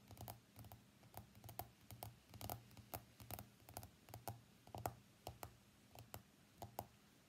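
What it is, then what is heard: Smartphone glass screen tapped with fingernails. Fingernails from both hands tap the glass screen of an iPhone X lying face up on a mat. The result is an irregular run of quick, dry clicks with a bright tick around 700 Hz, each dying away almost instantly. A faint low hum sits steadily underneath.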